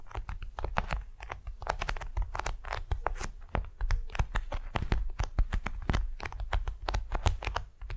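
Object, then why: Waxed cotton food wrap. A large, flat, patterned beeswax wrap of waxed cotton lies on a furry mat as long nails tap and scratch it and fingertips drum across its surface. The result is a rapid, steady run of short, dry crinkly taps and scratches with bright, crisp edges. Each lands over a soft, dull low thump and dies away almost at once.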